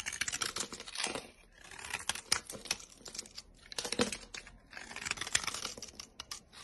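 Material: Soap.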